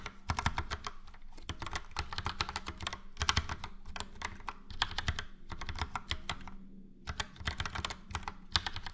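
A Logitech POP Keys full-size plastic mechanical keyboard, with a yellow frame and round dark grey and light grey typewriter-style keycaps, is typed on with the fingertips of both hands. Fast, continuous keystrokes make bright clicky clacks over a low, hollow thock. Short pauses occur near the start and around the 7-second mark.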